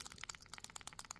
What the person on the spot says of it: and you can hear that rattle